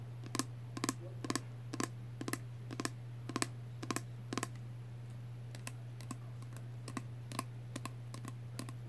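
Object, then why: Small plastic spray bottle. A small pink plastic Body Fantasies body spray bottle, partly full of liquid and with a clear cap, is held up and tapped with fingernails. Crisp, bright clicking taps come in quick pairs and short runs, each dying away almost instantly. A steady low hum runs underneath throughout.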